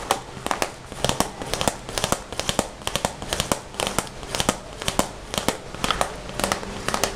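Fingertips and short nails tap and scratch the shiny front of a red glossy vinyl/PVC Hello Kitty zippered pencil case, held closed in the hands, hollow and holding pencils. A steady run of quick, sharp, crinkly taps and dry scratches with bright, crackling edges dies away almost instantly, over a faint background hiss.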